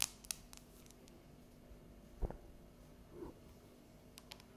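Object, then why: Dark chocolate bar tapped and scratched with fingernails. Long yellow nails tap and scratch the surface of a solid, unwrapped, palm-sized dark chocolate bar with embossed squares. About five quiet, dry, sharp clicks and soft scrapes, each with a bright high edge and almost no ring, are spread unevenly over the clip, including one duller, fuller knock near the middle.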